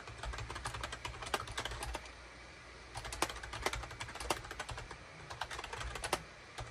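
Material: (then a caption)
Plastic. Fingertips type rapidly on a full-size gray and cream SHIPADOO K600 wired USB plastic keyboard with a hollow plastic case and keycaps, resting on a desk mat. Quick, dry, clacky keystrokes come in bursts separated by short pauses, with bright, sharp clicks over a faint low hum.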